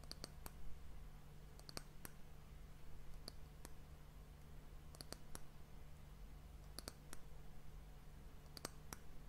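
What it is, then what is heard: Wooden hourglass end cap. Long fingernails tap and lightly scratch the top of a solid, polished brown wooden round end cap on a glass hourglass. About nineteen short, crisp clicks come in small clusters, each with a bright edge and almost no ring. A steady low hum runs underneath.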